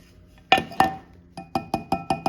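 An aluminum stop piece that slots into a drill press fence track is tapped eight times, giving short, bright clinks with a pitch near 770 Hz that die away quickly. The taps sound a bit like plastic, but the stop is aluminum.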